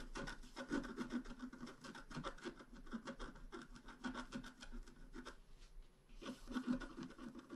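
A pointed wooden stylus scratches across a flat black-coated scratch art card about A4 in size. It makes a steady run of quick, dry rubbing and rasping strokes. The strokes pause briefly near the end, then pick up again.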